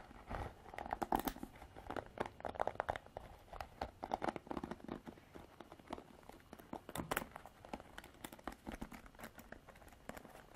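Long black nails scratch and rake the bristles of a Revlon plastic paddle hairbrush. The result is quiet, continuous crinkly scratching made of rapid, dry clicks and short bursts, concentrated in the mid range, with no ringing between strokes.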